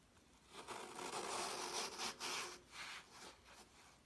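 A gloved hand slices a glitter-coated half-dome of solid, crumbly green floral foam with a metal kitchen knife on a white towel, shedding glitter. The blade makes a bright, gritty scraping and crunching sound as it cuts through the foam in rising and falling strokes.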